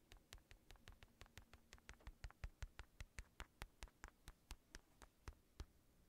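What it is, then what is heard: Synthetic leather boxing glove. Fingertips tap rapidly on the padded shell of a hollow black synthetic leather boxing glove held above the mic, giving 28 quick, separate taps. Each tap is a dull, low thud with a short bright click on top that dies away almost at once, over a faint low hum.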